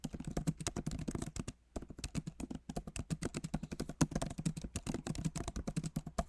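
Rapid fingertip typing with both hands on the plastic keycaps of a backlit MacBook Pro Magic Keyboard in an aluminum body. A dense stream of short, dull clicks and soft thuds, mostly low in tone with little brightness, pauses briefly near the middle before the tapping resumes at a steady pace.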